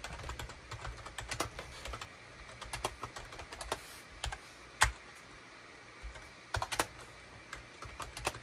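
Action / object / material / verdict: tap / plastic computer keyboard / plastic / none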